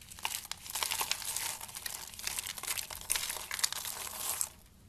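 Fingers squeeze and crush handfuls of dry pink soap shavings from a pile, with soap curls nearby. The result is a steady, bright, crinkly crunching with sharp crackles throughout, which stops near the end and leaves only a faint quiet hiss.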